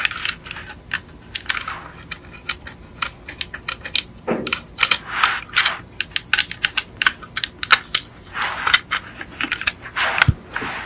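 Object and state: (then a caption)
Die-cast metal toy car. Long acrylic nails tap a small yellow die-cast Beetle model car with a hollow metal body, viewed from the front. The taps are quick, sharp and bright, with clicky ticks that stop almost instantly. They come in uneven bursts, broken up by a few softer scratchy swishes.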